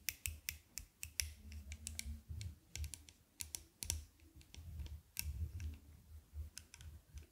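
Long nails tap and click on a pair of small dark-lens aviator sunglasses with a thin metal frame and arms, held close to the microphone. The result is a quick, uneven run of sharp, bright ticks against a soft low rumble, each click dying away almost instantly.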